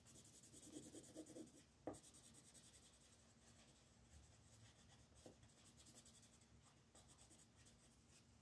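A wooden colored pencil, held in a right hand with red painted nails, shades a thin paper coloring book page lying flat on a dark wooden table while the left fingertips hold the page steady. It makes a soft, continuous rubbing and scratching with a bright papery hiss. A few louder strokes early on end in a sharp tick.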